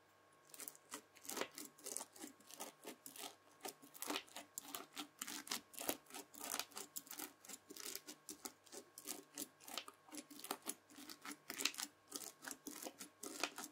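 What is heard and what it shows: A white plastic fork presses and scratches into red bead-filled floam slime. A steady run of short, bright, crunchy crackles sounds as the beads pop and grind under the tines, each burst dying away almost instantly.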